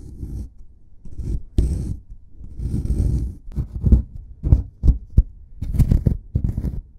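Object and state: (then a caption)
Plaster excavation block being scraped. A solid plaster excavation block is scraped with a metal pick, then dug at with a white plastic stick. Low, dull scraping strokes and short gritty scratches come in uneven bursts, with almost no bright content.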